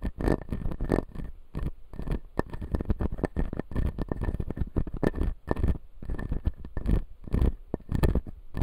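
Fingertips and nails tap and scratch the blue resin upper front teeth of a clear acrylic dental model. A steady run of quick, dull taps mixes with soft scratching, heavy in the low end, with a faint steady tone, and each tap dies away almost at once.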